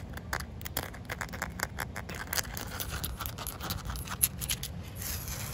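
Short painted nails scratch and tap across a large, solid, slightly damp outdoor concrete slab with a rough surface. A steady stream of quick, crisp taps and gritty scrapes sits over a low background rumble, with bright clicky edges. Each tap dies away almost instantly.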